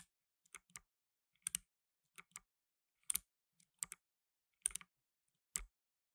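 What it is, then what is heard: Plastic mechanical keyboard. Blue nitrile-gloved fingertips type fast on a black tenkeyless mechanical keyboard with plastic keycaps. Sharp, bright clicks come in quick pairs and short bursts, separated by silent gaps. Each keystroke is dry, with little low end and no ring.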